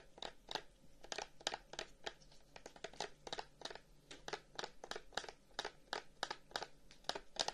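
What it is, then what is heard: Carved wooden incense box. A long, hollow carved wooden incense box with flower cut-outs and inlaid discs is held in both hands while fingernails scratch and tap its front. About 29 short, dry, bright taps ring out over a soft scratching texture, each dying away almost instantly.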